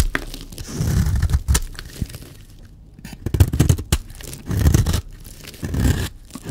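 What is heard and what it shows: A blade scrapes fine shavings off a solid, dry yellow bar of soap. The result is a series of low, dull scraping and crunching strokes with crisp bright edges, separated by brief quiet pauses.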